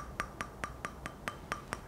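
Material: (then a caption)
Resin-bonded abrasive. A resin-bonded (resinoid) whetstone, lifted on the fingers, is tapped eight times with a fingernail at an even pace. Each tap gives a short, dull click with a faint ring near 1.2 kHz, like tapping plastic. That dull sound is the mark of a resinoid stone.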